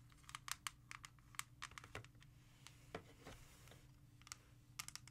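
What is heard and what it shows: A CD in a small, hollow, clear plastic jewel case lying flat is tapped and scratched with long red nails. Quick, sharp plastic clicks around 1.1 kHz with a bright edge come in rapid bursts over a low steady hum, with softer scratching between the taps. Each click dies out almost instantly, leaving a dry, hollow tapping sound.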